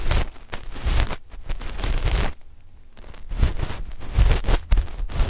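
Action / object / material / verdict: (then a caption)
scrape / knit fabric over a microphone / knit fabric / none. Long fingernails of both index fingers scratch a flat black knit fabric sheet stretched over a left and a right microphone. The result is rough, rustling scratch strokes with a deep, muffled low end and a faint bright hiss, broken by a brief quieter pause midway before the scratching resumes.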